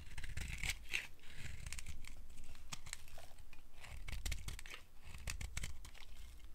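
A small metal blade scrapes a solid, opaque, dry yellow oval soap bar held in the palm, shaving off crumbly bits. Dense, crackly scraping and crinkling runs throughout, with bright, papery strokes over a low rumble. The scrapes come in quick, closely spaced strokes without pause.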